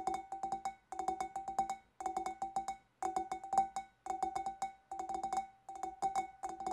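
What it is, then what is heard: Glass fish bowl. A large, clear, empty glass fish bowl held in both hands is tapped on its lower sides by long dark nails. Quick, light clicks come in about seven brisk bursts, each tap bringing out a short glassy ring with a steady tone near 780 Hz.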